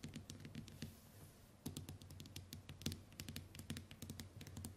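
Long white nails tap and click rapidly on the glass screen of a small, flat smartphone resting on a wooden table. The result is a quick, irregular patter of short, bright clicks with a soft low thump under each, briefly easing off around the one-second mark before resuming.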